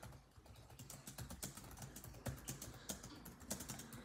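Fingertips of both hands type rapidly on a built-in laptop keyboard with dark plastic chiclet keys set in a grey laptop body. The quick, uneven run of soft key taps has short, clicky attacks with a low thud under each press and bright clicks on the sharper strokes, all at a fairly quiet level.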